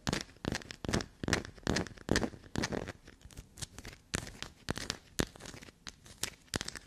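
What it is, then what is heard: Black soap bar scratched. A small solid black soap bar with a carved, crumbly scraped surface is held in the hand and scratched and dug into with long black-polished natural nails. It makes a quick, uneven run of dry, crumbly scratching and tearing bursts that spread from low thuds up to bright crackle, with no ringing after each stroke.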